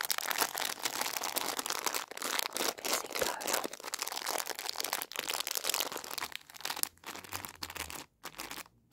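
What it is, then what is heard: Plastic candy packet being crinkled. Fingers crinkle and crunch a Cola Fizzy Lances plastic packet filled with candy strips. A dense, bright, continuous crackling of plastic fills most of the clip, then thins into softer, sparser crinkles with a brief near-silence toward the end.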